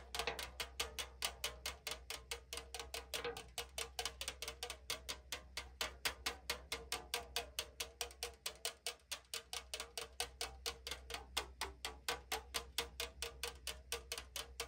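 Long nails tap and scratch the printed side of a tall, hollow AriZona aluminum can held sideways. About 69 short, bright, dry clicks come in a quick, uneven stream with little ring, centered near 3.3 kHz, over a faint steady low hum.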